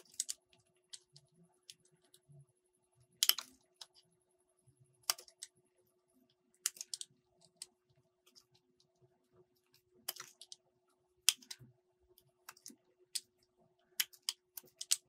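A solid green soap bar is carved with a metal utility blade, producing short, dry, bright scraping and clicking cuts scattered irregularly across the clip. The strokes are crisp and quiet, with almost no low end, and die away quickly between cuts.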